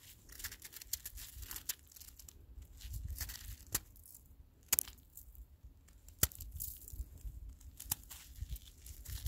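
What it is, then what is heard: Handful of icy snow being crushed. A small handful of crystalline, icy snow is squeezed and crushed by fingers in a black fabric glove until it crumbles into granules. Quiet, bright crackling and gritty crunching are broken by sharp, sudden clicks, over a soft low rumble.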